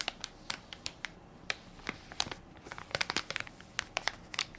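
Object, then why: Plastic-film baby wipes soft pack. Fingertips and nails press and crinkle the plastic film of a hand-sized Equate baby wipes soft pack, full of wipes and held in one palm. Sharp, bright crackles come in a quick, irregular series of short bursts with little low end and almost no ring, separated by a soft hiss.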